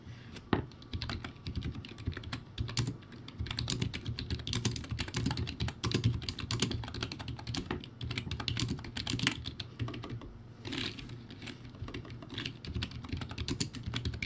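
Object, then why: Plastic keyboard with round keycaps. Fast two-handed fingertip typing on a crappy backlit plastic typewriter-style keyboard with round white plastic keycaps. It produces a steady, dense stream of short, dry plastic clicks with a thuddy low body and bright edges. Each keystroke dies away almost instantly.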